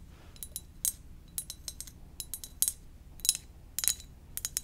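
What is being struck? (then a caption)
Ceramic mug. Gentle tapping on a ceramic donut-shaped mug produces a quiet, irregular series of bright, high clinks with very short ring. A faint low rumble sits underneath throughout.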